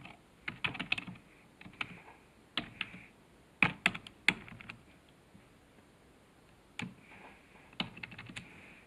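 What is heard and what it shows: Fingertips type quickly on the keys of a black plastic computer keyboard resting on a desk. Short, bright, dry clicks come in irregular bursts separated by quiet pauses, each click fading almost instantly.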